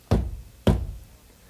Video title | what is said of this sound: 1988 Chevrolet C/K Manufacturer Laserdisc Promotional Video | Pound on the side of any CK door, and you'll hear the solid sound of built-in strength.